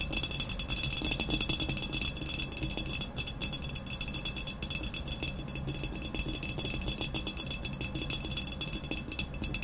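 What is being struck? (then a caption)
Ceramic vase. Long nails tap rapidly on both sides of an upright, hollow, black textured ceramic vase resting on a white cloth. The result is a fast, steady stream of bright, clicking taps with a ringing tone near 3.4 kHz over a soft low rumble.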